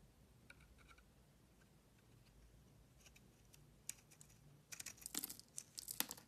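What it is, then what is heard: Bar of soap being shaved. A metal utility blade shaves and scrapes thin curls off the surface of a solid, hand-sized tan bar of soap held in one hand. Faint, soft scraping with a few light ticks gives way near the end to louder, crisp, bright shaving and scraping strokes in short irregular bursts.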